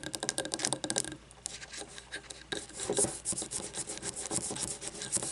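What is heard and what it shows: Fingernails scratch over a frosted glass candle jar with a paper label, filled with wax. Dense, bright, raspy scraping comes in quick strokes with no ring. A softer, quieter stretch in the middle gives way to sharper bursts of scratching again.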